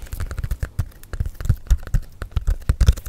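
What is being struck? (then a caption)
Paper calendar in plastic shrink wrap. Fingernails tap and scratch a flat Van Gogh wall calendar still sealed in shiny plastic shrink wrap. A quick, uneven series of soft, dull taps lands with almost no ring, with faint crinkly scratching between them.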